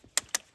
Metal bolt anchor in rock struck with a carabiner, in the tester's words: knock of the Carabiner that sounds solid